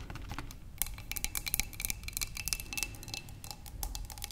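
Long nails tap rapidly along the sides of a narrow, clear glass cylinder vase holding tulips. The taps are quick, bright clicks with very short decay, over a faint steady ringing tone and a low background rumble.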